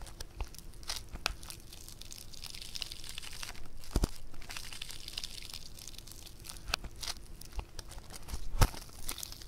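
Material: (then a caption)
Foam clay. A soft, hand-sized lump of pink bead-textured foam clay (floam) is stretched and torn apart by fingers. It gives a steady, bright crackling and fizzing as the beads pop, with occasional sharper snaps that stand out, the loudest near the end.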